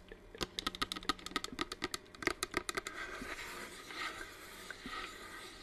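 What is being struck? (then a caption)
Small hollow plastic humidifier. Long nails tap and scratch the curved side of a hollow, hand-sized white plastic flame-effect aroma diffuser humidifier, held in both hands while it runs with its flame-lit mist. A quick string of sharp, bright, dry taps fills the first half. It then gives way to a softer, continuous, hissy scratching with a few faint taps.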